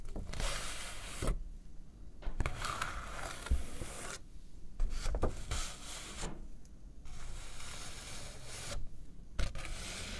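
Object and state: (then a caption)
Paper sheet. A single thin, flat, white A4-size paper sheet, folded in half, is held up in both hands with long pink-and-black manicured nails and rubbed and handled between the fingers. Bright, broadband rustling and crinkling comes in bursts, separated by several short quiet pauses, with occasional sharper crackles.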